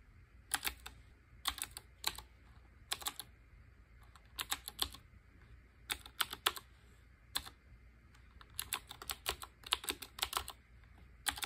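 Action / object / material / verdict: tap / typewriter-style mechanical keyboard with round keycaps / plastic / none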